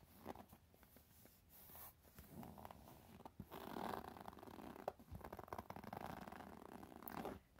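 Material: Coated canvas.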